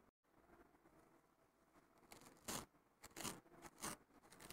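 Fingertips and short nails scratch across the rough surface of a thin, fibrous, flat green abrasive nylon scouring pad lying on a wooden table. Quiet, steady scratching builds into several loud, bright, rasping bursts.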